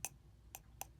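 The side of a cheap new replacement diaphragm for a Yamaha JA4201 compression driver is flicked three times, each flick giving a short, bright click with a thin, tinny ring like broken plastic. The diaphragm is poorly damped and does not fit properly.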